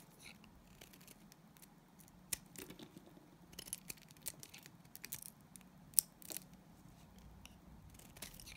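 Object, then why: Glycerin soap bar shaved with a knife blade. A solid, translucent green glycerin soap bar held in the hand is shaved with a utility knife blade. The result is quiet, irregular, bright scraping clicks and crisp slicing ticks, with a few sharper snaps standing out over a low, steady background hum.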